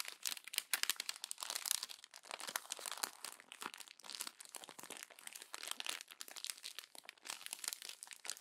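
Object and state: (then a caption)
Glossy magazine paper being crumpled. A fist crumples the thin pages of a glossy paper magazine while fingers with long nails press them, producing dense, bright crinkling and crunching with many sharp, rapid crackles. The sound is high and hissy, with no low end, and is continuous throughout.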